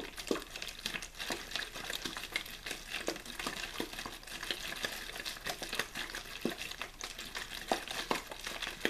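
A clear, thin plastic water bottle with a blue label, hollow and apparently empty, is held in one hand, rapidly shaken and squeezed. The thin plastic gives off a steady stream of bright, dry crinkling and crackling with sharp, quick clicks and almost no low end.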